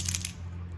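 A plastic one-knocker lipless crankbait lure, which holds a single large rattle inside, is shaken, giving two quick bright clacks from the rattle. Its knock is deeper and more girthy than a standard rattling crankbait. A steady low hum runs underneath.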